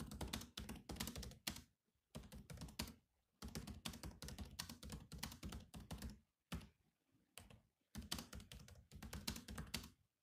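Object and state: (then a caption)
Plastic laptop keyboard. Fast fingertip typing on a silver laptop keyboard with black plastic keys produces dense bursts of short, clicky key taps. The taps come in rapid runs separated by brief pauses, each one sharp with a quick decay and a low thump under bright clicks.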